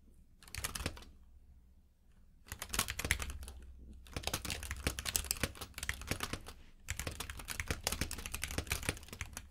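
Both hands type with their fingertips on a compact mechanical keyboard with plastic keycaps in a grey frame, lying on a purple rug. Rapid, bright clicky key taps come in bursts separated by short pauses, over a steady low hum.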